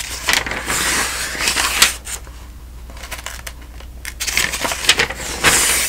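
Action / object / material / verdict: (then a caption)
scrape / thin-paged paper telephone directory / paper / none. Fingers turn the thin paper pages of a thick, open telephone directory one after another, making crisp, bright rustles and crackles. The flips come in busy bursts with a quieter stretch in the middle, over a faint steady low hum.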